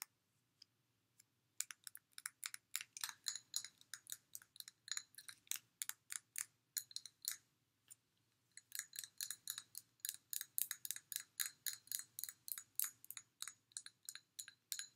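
Long manicured nails tap and click along the body of a clear glass water bottle that is partly filled with water and has a blue silicone sleeve and a cork-topped cap. Soft, sparse taps at the start build into a rapid series of sharp, bright clicks that stop dead with almost no ring. After a brief pause the clicking resumes in a steady stream to the end.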